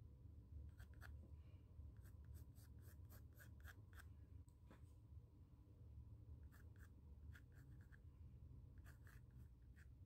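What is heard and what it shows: A pencil tip scratches circles and outlines on the textured surface of a small square white stretched cotton canvas panel. Short, bright, scratchy strokes come in clusters, with pauses between groups, over a quiet, steady low rumble.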